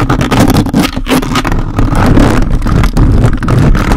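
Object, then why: Metal mesh microphone grille. A large red desktop condenser microphone with a dark metal mesh grille and hollow capsule head is scratched aggressively by the grey plastic fingers of a toy robot grabber hand held by an orange handle. The result is a dense, continuous run of loud, boomy scraping and rubbing dominated by low rumble, with rapid scratchy bursts and little high-end content.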